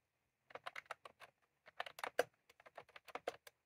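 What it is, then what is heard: Plastic round-key keyboard being typed on. Fingertips of both hands type on a white/cream plastic retro computer keyboard with round typewriter-style keycaps, resting on a desk. Quick, dry, bright clicks come in two bursts with a short pause between, each click clipped with almost no ring.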